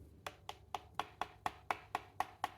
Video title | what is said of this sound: Manette NS009S pour Nintendo Switch de chez aliexpress | ça sonne pas creux. Bah, c'est étonnant.